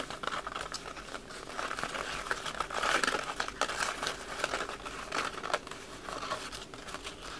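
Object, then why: Paper wrapping paper. Crumpled red patterned wrapping paper is held in both hands while fingertips rub, crinkle and scratch it close to the microphone. A dense, continuous crackle of sharp paper crinkles with bright, high edges centres around 1.3 kHz. It swells and dips in loudness over about seven seconds, with very little low end.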